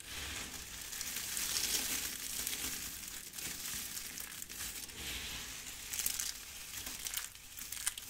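Hands with long red nails grab, press and crush handfuls of brittle pink and yellow dried soap shavings from a pile. The result is a continuous dry, crunchy crumbling and crackling that is mostly bright and high-pitched, with a few sharper crackles toward the end.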